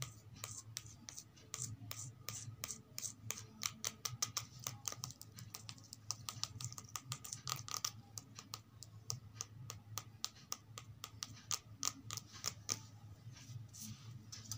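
Long acrylic nails rapidly tap and scratch the glossy cover of a thin paperback children's reading book, "The Broken Roof," with a paper and card cover, lying flat and solid on a small stack on carpet. The result is a quick run of sharp, bright clicks with almost no ring, over a soft scratchy rustle and a faint low hum.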